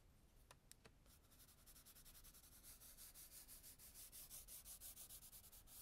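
A hand with long nails rubs and scribbles a black charcoal stick hard across a page of a spiral-bound tan toned-paper sketchbook lying flat, leaving dense dark shading. After a few sharp ticks at the start, quick back-and-forth scratchy strokes build into a steady, rhythmic rasp with a bright, hissy top. The strokes grow slightly louder toward the end.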